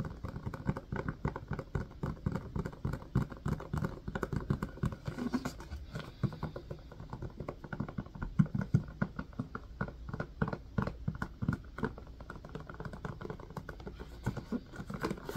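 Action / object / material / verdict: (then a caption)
tap / silicone ice cube tray in a plastic frame / silicone / none. Fingertips tap and press the domed cells of an empty blue silicone ice cube tray in a plastic frame, held upright. A dense, irregular run of soft, dull pats and thumps follows, low and muffled with almost no ring, continuing steadily throughout.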